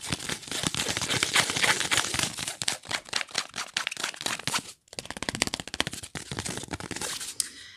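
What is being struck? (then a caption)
Thin printed cardboard ornament. Long nails and fingertips scratch and rub a thin printed cardboard angel ornament held up close, making dense, bright, crinkly scraping strokes in quick irregular succession. The sound drops out for a brief pause near the middle, then resumes and fades toward the end.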